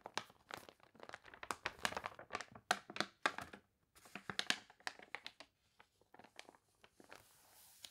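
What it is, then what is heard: Crinkled glossy paper catalog. Long nails and fingertips rub and scratch across the crinkled pages of a warped, glossy paper toy catalog. The result is a dense run of sharp, crunchy crinkles and bright rustling bursts with no lasting ring. There is a brief pause midway, and the sound thins to sparse crackles and a faint hiss at the end.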